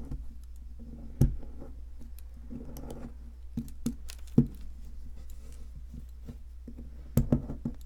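A metal pick, held in a hand with long red nails, scrapes and chips at a solid white, palm-sized plaster fossil excavation block. Soft, irregular scratching and tapping sits over a steady low hum, with a few sharper, louder chips cutting through at intervals.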